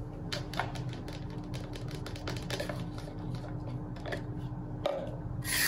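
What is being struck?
Plastic food container with plastic lid.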